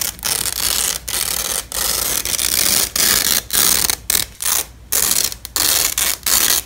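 A yellow and black nylon hook-and-loop strap is held between two black-gloved hands and slowly pulled apart, giving a bright, dry crackling rip. Several separate rips, each about half a second to a second long, are broken by short silent pauses, with almost nothing in the low end.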